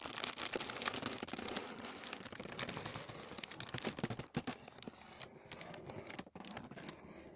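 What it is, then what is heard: Thin tissue paper. A flat sheet of thin white tissue paper lying on a wooden table is scratched by short nails and fingertips. The result is a dense, bright crinkling and rustling made of rapid, dry strokes that fade quickly. The sound grows slightly sparser and quieter toward the end.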